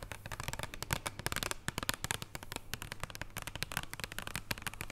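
A flat, thin wrapped chocolate bar in printed cardboard packaging lies on a wooden table and is tapped with the long purple nails of both hands. The taps are rapid, dry and crisp with almost no ring, coming in dense clusters with a light, papery clicking texture throughout.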